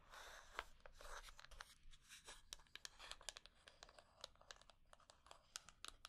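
A small hollow wooden box with a small metal plate on one side is held in the hands and scratched and tapped with long painted nails. A dry, rasping scratch runs under a rapid series of sharp, bright clicking taps that die away almost instantly.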